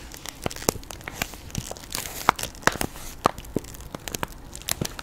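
A plastic Jolly Rancher hard candy bag filled with candy, held close to the mic, is scratched and tapped by long pink acrylic nails. Quick, uneven crinkles and sharp little taps sound over a steady soft rustle, with brief bright ticks standing out.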